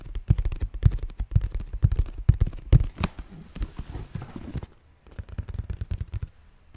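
Fingertips and nails rub and scratch the printed lid of a hollow cardboard red and white Nike shoe box held in both hands. The result is a run of quick, irregular, dull low thumps and scuffs with no ring, carrying a faint bright scratchy edge. It fades to a brief near-silence around the five-second mark, then resumes more softly.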